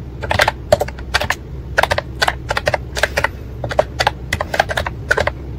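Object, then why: Plastic keyboard with round keycaps. Fingertips type on a white and pink plastic ACTTO retro-style wireless keyboard with round, typewriter-like keycaps and a hollow plastic body, resting on a desk. Quick, bright, clacky key strikes come in uneven bursts and flurries, each dying away almost instantly. A steady low hum sits underneath.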